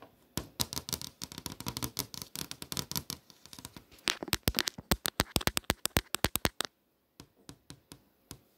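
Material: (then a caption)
Glass. Long nails tap and trace across the flat glass of a touchscreen display, over the text and posters shown on it. A rapid run of sharp, bright clicks comes first, mixed with soft scratchy tracing. Sparser, evenly spaced taps follow, separated by short silences.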